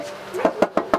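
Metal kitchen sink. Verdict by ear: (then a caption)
Tinny. Four knocks on a bare, uninsulated metal sink give short, tinny metallic raps with a mid-range ring around 590 Hz that dies away almost at once. The sink shows how bare van metal sounds when knocked, compared with metal sprayed with lizard skin insulation to quiet it and reduce road noise.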